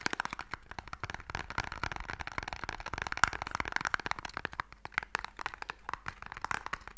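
A small, long, hollow wooden Mikado box is held upright and tapped quickly on its face with long nails. The result is a dense run of short, dry, hollow clicks centered in the midrange around 1.4 kHz, each dying away almost instantly, with a faint crackly texture throughout.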